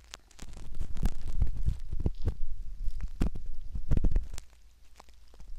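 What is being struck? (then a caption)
Soft silicone ear model scraped by a metal ear pick. A hooked metal ear pick scratches at the canal entrance of a soft silicone ear model, close up. The result is a dense, irregular run of muffled, low rumbling scrapes with quick sharp clicks and brief bright ticks. The scraping fades quieter near the end.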